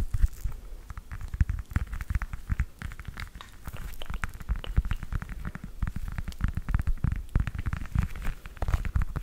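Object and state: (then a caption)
Whole orange, tapped and scratched. A whole fresh orange held in the hand is tapped and scratched on its peel with long nails. A rapid, continuous run of short, dull taps and light scratches plays throughout, mostly low and muffled with faint crisp clicks on top.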